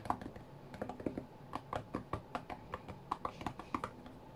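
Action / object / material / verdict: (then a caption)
tap / tablet glass touchscreen / glass / none. Fingertips of both hands tap on the glass touchscreen of a white iPad lying flat on a mat. About two dozen quick, soft taps land in a brisk, uneven rhythm, each a dull, short knock with a faint mid-pitched tone and almost no ring.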